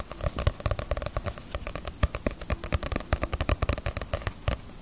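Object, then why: Paperback book with glossy paper cover. Fingernails tap rapidly and irregularly on the glossy paper cover of a small, solid Bleach paperback manga volume that sits partly hidden behind the microphone. Each tap is a short, dry click with a soft low thump underneath, and it dies away almost instantly. Dozens of taps tumble out in quick, crackling bursts.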